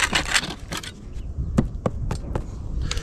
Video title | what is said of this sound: Preparing to paint the walls around the roof, we discover a problem (Ep 235) | ce son creux est dû au fait qu'il est au-dessus des carreaux pour maintenir les carreaux en bas